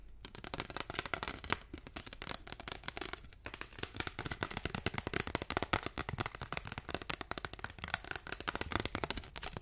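Fingertips and nails rapidly tap and scratch along the surface and edges of a long, thin, flat, solid translucent pink plastic ruler, about 30 cm, held up in the air. The result is a dense, fast stream of sharp, bright clicks and scratchy crackles with almost no ring, continuing throughout the clip.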